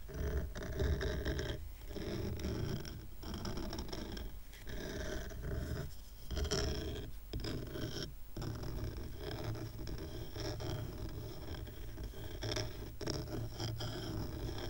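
Fingernails scratch the grainy top and side of a small stack of dark, rough, solid wooden coasters tied with twine while the other hand steadies it. The result is a steady, dense, rasping scrape with a heavy low rumble, broken by a few brief pauses.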